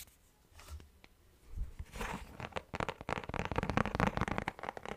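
Fingertips and nails tap and scratch a thin, round orange plastic lid with a hollow underside. A few soft, low thumps give way to a dense, crackly run of quick taps and scratches that grows louder and brighter toward the end.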